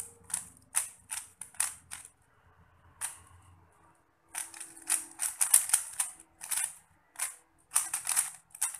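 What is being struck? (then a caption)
Plastic 3x3 puzzle cube. A small 3x3 plastic Rubik's cube is held in both hands while fingertips turn its layers. Quick runs of sharp, bright mechanical clicks and clacks come in bursts, with a quieter pause near the middle before a denser flurry of turns.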